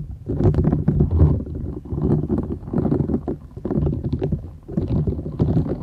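Long nails scratch and rub a flat, thin, solid purple silicone scrubber sponge with short bristles, held folded and bent in both hands. The result is a dense, low, muffled rubbing and scratching with soft crackly bristle detail, rising and falling in steady waves.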